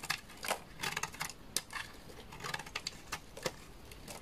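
A solid, dry, beige bar of laundry soap is held in the hand and shaved into curls with a utility knife. Each stroke makes a short, bright, crisp scraping crackle with almost no ring. The strokes come in an uneven series of quick bursts.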